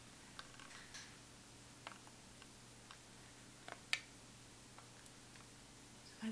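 Long pointed acrylic nails tap on the embossed chocolate-bar lid of a closed Too Faced Chocolate Bar eyeshadow palette, a flat, hollow metal tin held in both hands. The taps are quiet, sparse, bright, dry clicks that die away almost instantly, over a faint steady low hum. The loudest tap lands near the four-second mark, with a soft shuffle at the end.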